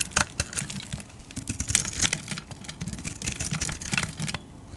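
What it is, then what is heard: Bar soap being shaved. A solid oval white bar of soap held in the hand is shaved with a metal utility-knife blade, cutting off flakes. The strokes come as a rapid string of crisp, dry scraping and ticking sounds, bright and sharp with very short decay, over a soft low rumble.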